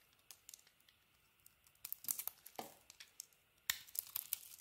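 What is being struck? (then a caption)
Soap bar scraped with a knife blade. A solid yellow soap bar with a purple coating is held in the hand while its edges are scraped and carved with a utility knife blade. The sound is quiet, bright, crisp scraping and crackling with irregular sharp clicks. Louder flurries of shaving come near the middle and toward the end, each dying away almost instantly.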